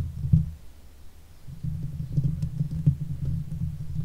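Long fake nails on both hands scratch the hollow steel mesh grille of a silver Blue Yeti microphone. The sound is a muffled, deep rumbling scrape with soft thudding taps, almost all of it low. A brief bump comes early, then the scratching turns steadier and denser from about halfway through.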